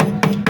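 A hammer taps twice on the welded sheet-metal roof rail of a VAZ-2103, which has just had reinforcement strips welded inside it. Each tap gives a short, dull, solid knock with a low tone around 195 Hz and almost no ring. The reinforced rail sounds solid and is judged very well strengthened.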